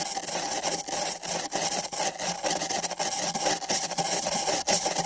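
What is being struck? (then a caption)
Paper cup. Nylon bristle brushes on sticks rub and scratch back and forth across two identical empty printed paper cups fitted over microphone ears. The result is a dense, continuous, bright scratching hiss with almost no low end, pulsing unevenly with brief dips between strokes.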